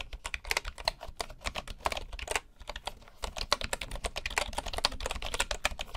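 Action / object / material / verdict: tap / bamboo computer keyboard with wooden keycaps / bamboo / none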